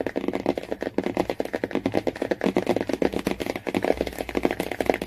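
Fingernails tap rapidly on the laminated cardboard cover of a hardcover Jungle Book. The result is a dense run of short, dry clicks with almost no ring, centered in the low-mid range around 450 Hz and with little high or deep content.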